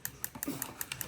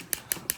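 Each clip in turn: First: metal watch bezel. Second: mineral glass watch crystal.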